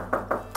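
Three quick taps on the steel wall of a shipping container converted into a home give short, dull knocks centered in the midrange. Each knock dies away almost at once, with no lasting metallic ring, over a faint steady low hum.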